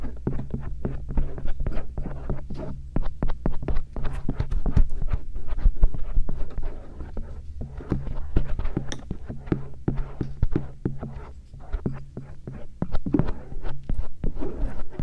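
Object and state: Silicone ear scratched with a metal earpick.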